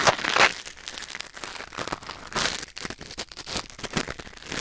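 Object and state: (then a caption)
Ear pick scraping a silicone ear. A thin wooden or bamboo ear pick, held in the fingers, scratches and scrapes inside the ear canal of a white silicone ear mounted on a black binaural microphone. The result is close, bright, crinkly rustling and crackling in irregular bursts, loudest at the very start and easing into softer, quick scraping strokes.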